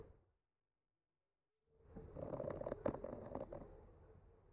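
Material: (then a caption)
Wood. A bamboo skewer with a clipped-on mic, held in the fingertips, gently scratches and traces over the painted blossoms on a flat, solid painted wooden art panel. After a faint opening sound and more than a second of silence, a soft, dry scraping rises in, with a mid-toned rasp around 550 Hz. It swells to a brief sharper peak near the three-second mark, then slowly fades.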